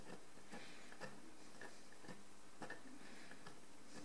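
A small metal loop tool held in the fingers scrapes a pale calcareous crust off a large encrusted ceramic jar lying on its side on a table. Faint, short scratchy ticks repeat at an uneven pace over a steady low background hiss.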